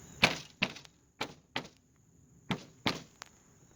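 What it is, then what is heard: Soffit with debris inside. Tapping on a house soffit gives dull, gravelly knocks instead of a clean sound, meaning debris is inside, likely bat droppings causing the staining on it. Seven separate taps are heard, each a short, bright burst that fades quickly, with a faint steady high tone running underneath.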